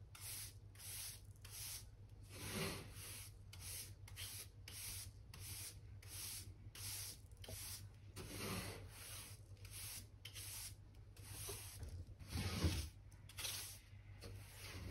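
A black-handled hand brush with pale stiff bristles sweeps dirt and dust from between the planks of a solid old wooden floor in a room corner. About twenty quick, bright, scratchy strokes come in rhythmic bursts, a few louder and heavier than the rest. A steady low hum sits underneath throughout.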